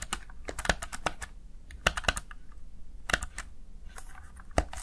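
Fingertips repeatedly tap and press the keys of a plastic Razer Tartarus Chroma gaming keypad. The result is a quick, irregular run of short, dry plastic clicks with bright tops, with a few sharper presses standing out over a low, steady hum.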